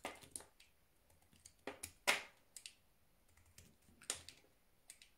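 A solid pink soap bar is held in the hand and scored and chipped with a utility knife. Short, crisp cutting and scraping ticks come in an irregular, quiet series with bright, dry attacks and almost no low end, the sharpest cut landing near the middle.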